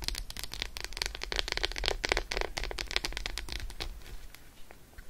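Long acrylic nails fast-tap an unwrapped solid Roshen milk chocolate bar resting on faux fur. The result is a dense run of rapid, irregular, crisp clicking taps over a low rumble, thinning out and growing quieter toward the end.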